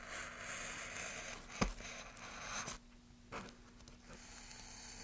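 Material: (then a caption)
Pine wood. A gloved hand scrapes and cuts the surface of a solid pine softwood plank with rounded ridges, using a small carving blade. A steady, bright, hissing scrape runs through the first half with a sharp snap of the blade near 1.6 seconds and a louder stroke near 2.7 seconds. The sound then drops quieter, with one brief scrape near 3.4 seconds, over a faint steady low hum.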